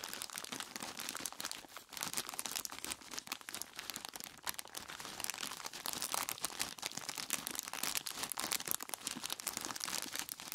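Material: Plastic, ice.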